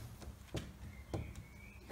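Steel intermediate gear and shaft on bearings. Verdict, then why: Loose. Knocking on a steel intermediate gear and shaft assembly in a Land Rover transfer box after its bearings and spacer are fitted gives a few short, dull, low thuds with almost no ring. The knocks reveal some end float (play) in the assembly before the preload is measured.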